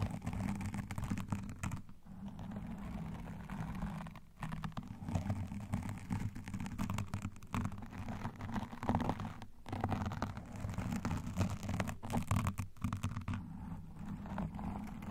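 Long painted nails and claw rings on both hands scratch quickly and densely over a black foam windscreen on a microphone. The sound is a continuous, muffled, rumbling scratch, mostly deep and low with very little bright content, and a few brief pauses.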